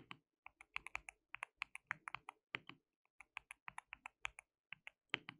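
Fingertips of both hands type continuously on a white mechanical keyboard with plastic keycaps. The result is a quick, uneven run of short, bright, dry key clicks with brief pauses between bursts.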